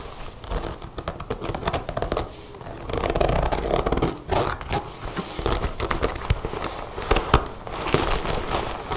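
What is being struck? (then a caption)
Leather jacket. Long blue nails rapidly tap and scratch the leather panels on the front of a dark brown leather jacket with a brass zipper and snap pockets. The result is a dense stream of dull, low-heavy taps mixed with crinkly, scraping rubs and occasional sharper clicks.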